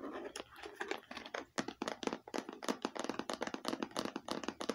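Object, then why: Hard plastic eyeglasses case. A small, hollow, red hard-plastic eyeglasses case with a faux-leather stitched look is held close and tapped with long painted nails. A quick, uneven run of quiet, dry clicks and light scratchy taps follows, each dying away almost at once with a hollow mid-pitched tone.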